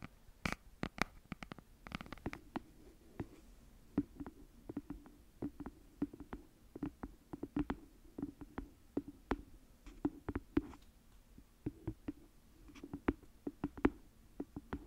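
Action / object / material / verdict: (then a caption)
tap / hardcover notebook / cardboard / none. Long nails tap and scratch the hard cover and edge of a red hardcover notebook, first held upright and then held flat. The result is a quiet run of sharp, dry clicks and brief scratches that die away almost instantly, with a faint low tone running underneath.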